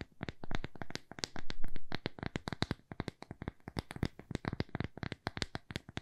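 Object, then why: Thin square plywood coaster. A small, thin, solid square plywood coaster is held in the palm and tapped rapidly with long fingernails. The result is a quick, uneven run of short, dry wooden taps with crisp clicky edges and a dull low body, each dying away almost at once. The taps blur into denser flurries early on and turn into sharper separate clicks toward the end.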